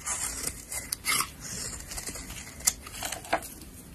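A black-handled utility blade scrapes across a solid yellow soap bar held in a hand with long nails, shaving thin curls off its surface. The result is a quiet, bright, papery scraping with several short, sharp crisp ticks and almost no low end.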